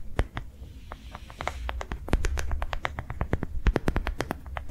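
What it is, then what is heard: Rubber sensory ball tapped with nails. A hand-sized, yellow-green ridged soft rubber sensory ball, likely hollow, is held in one hand and tapped quickly on its ridges with long nails. A rapid, uneven run of sharp, bright clicks sounds over a steady low rumble, with each tap dying away almost instantly.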